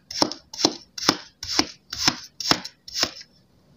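A steel kitchen knife chops the same pre-sliced, solid pink kinetic sand hearts into crumbly pieces, its blade cutting through the sand and striking the table. Seven separate crunchy, bright chops come at a steady pace, each a short gritty burst with a brief tail and a quiet pause between them.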